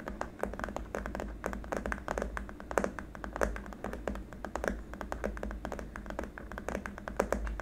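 Both hands tap rapidly with fingertips and short nails on a long, flat, white hard-plastic keyboard wrist rest, a solid slab on small rubber feet resting on a dark surface. The result is a dense, uneven stream of short, dry, clicky taps that die away almost instantly, with a hollow mid-range tone over a steady low rumble.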